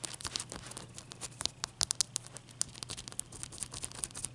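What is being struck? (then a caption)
Ice cube tapped and scratched with fingernails. Long fingernails tap and scratch a single melting block of clear ice held in the fingers, heard close-up. A quiet, rapid run of sharp, bright clicks and crackly scrapes dies away instantly, over a faint steady low hum.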